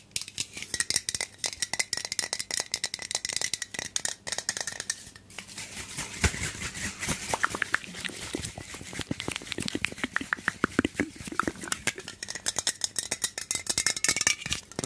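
A hand-sized, hollow, pressurized black-and-red aluminium aerosol hair spray can with a white cap is held in the hand, shaken, and tapped with the fingertips. The result is a dense run of quick, dry, bright clicks and rattles with a faint steady tone around 2 kHz, and each hit dies away almost instantly.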